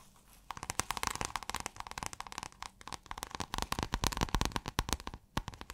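Long acrylic nails scratch a roll or fold of pale blue, scale-textured iridescent fabric. The sound is a quiet, rapid run of crisp, crackly clicks and rasps, dense with bright high detail and a faint low thump under each stroke. It starts after a short pause and stays busy to the end with no lingering ring.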